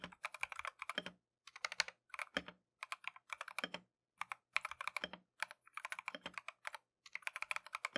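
A compact Keychron V1 mechanical keyboard with Tangerine switches and green and white plastic Matcha keycaps is typed on continuously with gloved fingertips. Quick, bright, clacky keystrokes come in rapid bursts separated by short pauses, each click dying away almost instantly with very little low end.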